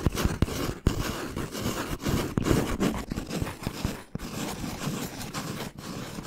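Fingernails tap and scratch a hollow brown cardboard tube with a capped end, held upright. Dull, hollow taps with a low thump sit over a steady, rough scratching texture, mostly low in tone with little bright content.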